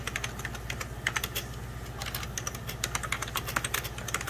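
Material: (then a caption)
Plastic. Fingertips and short nails type rapidly on a full-size 90s Packard Bell keyboard, its beige plastic keys sitting over a hollow plastic case. The result is a quick stream of bright, sharp plastic clicks and taps, each dying away almost instantly, over a steady low hum.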